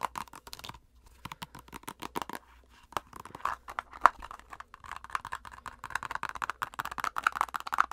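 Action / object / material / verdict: tap / plastic squeeze tube / plastic / none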